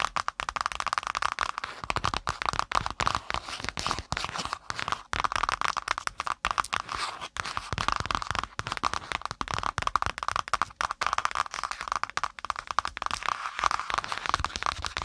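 Long nails tap and scratch rapidly on the brown kraft cardboard cover of a spiral-bound notebook with metal wire binding, lying on the microphone. A dense, steady stream of dry, crackly taps and rough scratches is heard, centred in the midrange around 1.2 kHz with little low end and no ring.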